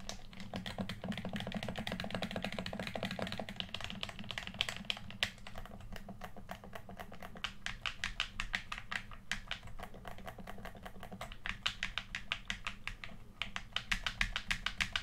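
A hollow, hand-sized red plastic PS4 controller is held in both hands while thumbs and fingertips tap and click its buttons and thumbsticks. A rapid, steady stream of short, dry plastic clicks and taps with bright edges cuts off almost instantly. A constant low hum sits underneath throughout.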